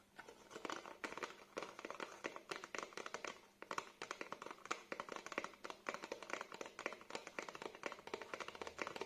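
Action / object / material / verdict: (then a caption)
tap / thin printed cardboard hanging card / cardboard / none. A small, thin, flat black printed cardboard hanging card with a hang hole is held in both hands while fingertips and nails tap and scratch its surface. The result is a steady run of rapid, dry, crisp taps and papery scratches with very short decay and almost no low end, continuing through the whole clip.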